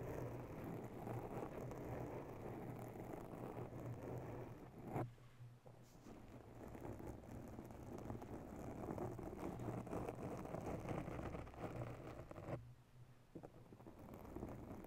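Long natural nails on both hands scratch and tap over the top of a round grey foam ball windscreen covering a microphone in a white mount. The result is a dense, muffled, low rustling scrape with a steady low hum, dropping briefly quieter around five and twelve and a half seconds before resuming.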